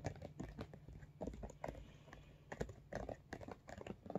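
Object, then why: Soft-sided vinyl makeup bag. Fingernails tap and scratch the top and sides of a medium, soft-sided, iridescent holographic vinyl cosmetic bag. The result is a quick, irregular run of short, dull taps, mostly low in tone with little brightness, mixed with soft scratchy rustles. Each tap dies away almost instantly.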